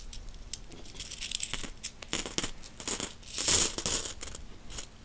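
A handful of mixed solid metal coins is jingled and shaken in a closed fist, then released onto a bedsheet. Bright, high metallic clinks and rattles come in quick, uneven bursts, with the loudest jangle around the middle of the clip. Each chink dies away quickly.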